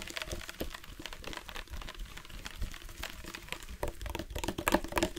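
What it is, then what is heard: Plastic water bottle tapped. A dark plastic sports water bottle with a loop cap, hollow and partly filled with water, is tapped on its side and cap with the fingertips. It makes a quick, irregular run of soft, short, dull knocks with a hollow low tone around 330 Hz. The taps die away almost at once and grow a little sharper toward the end.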